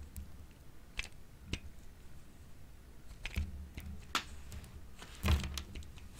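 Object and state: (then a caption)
Bar of dry soap being grated. A solid, hand-sized, light-green bar of dry soap is shaved with a grey-green plastic grater with a metal blade in repeated scraping strokes. Each stroke gives a short, dry, brittle scrape with bright crackly edges over a low, quiet rumble, with the strongest stroke near the end. Green ribbons of soap come out of the tool.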